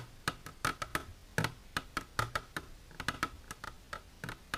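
Long natural nails with silver polish tap on a plastic container, producing 19 quick, dry clicks in an irregular rhythm over about four and a half seconds. Each tap is short with almost no ring, a bright click over a low knock.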